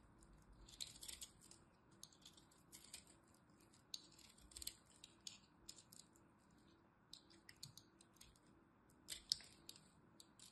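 A small metal blade carves crumbly pieces from a dried lilac soap bar held in the hand. Quiet, bright scraping crunches come in short, irregular bursts over a faint low hiss, each dying away almost instantly, with a louder cluster near the end.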